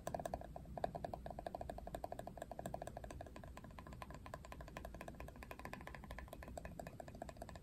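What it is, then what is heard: Plastic hairbrush back scratched and tapped. Fingernails scratch and tap across the ridged back of a hollow-feeling hard plastic Barbie paddle hairbrush, printed with a Barbie portrait in ridged lines. The result is a quiet, rapid, irregular stream of short dry clicks and scratchy rasps over a low rumble, with a faint tone near 690 Hz.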